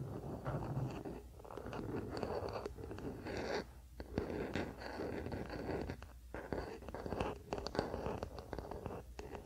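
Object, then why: Wooden paddle hairbrush. A wooden paddle hairbrush lies on a blanket while fingertips and nails scratch and rub its solid wooden back and handle. The result is a soft, steady scratching and rubbing texture, mostly low and mid in tone, with brief lulls near 4 and 6 seconds.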